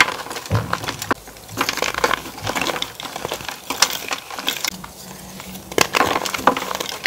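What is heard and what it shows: Bare fingertips and palms crush and rub broken white and pink gym chalk (magnesium carbonate) slabs, solid, dry and powdery, into powder in a metal tray. Many dense, bright crunching cracks and gritty scraping rub through the clip, with sharp snaps standing out, and the chalk is ground down to powder.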